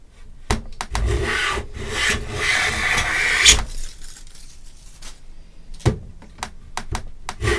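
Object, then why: Pine plank edge under a metal hand plane. A metal hand plane, pushed with both hands, is drawn in long strokes along the edge of a solid pine plank about 1 m long, clamped edge-up in a bench vise. A sustained, bright shaving rasp fills the middle of the clip, framed by short sharp wooden knocks and clicks with brief quieter gaps in between.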